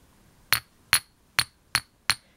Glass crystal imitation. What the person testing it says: more of a chinking sound